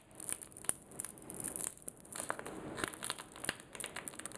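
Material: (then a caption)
Plastic. A small, flat, blue-and-white printed plastic sachet holding a sanitizing wipe stays sealed as fingertips with short nails squeeze it. It gives a quiet, steady stream of dry crinkling and crumpling with bright, high crackle and a few sharper snaps. Each crackle dies away almost instantly, with little low end.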